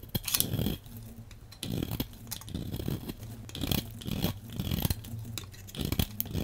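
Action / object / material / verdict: scrape / translucent bar of soap / soap / none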